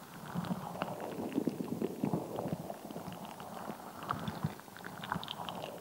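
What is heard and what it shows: A palm-sized, solid, translucent rubber squishy ball packed with red and green water gel beads is squeezed and scratched with long nails and fingertips. The result is a steady run of soft, wet, squelchy crackles and dull ticking scratches, mostly low and mid-toned, with occasional brighter clicks. Nothing rings on after each touch.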